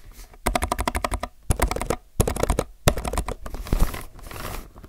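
Fingertips press keys on the left side of a low-profile mechanical keyboard with plastic keycaps, typing in quick, uneven bursts of individual keystrokes separated by short pauses. Each press is a short, dry clack with a soft low thump and almost no ring.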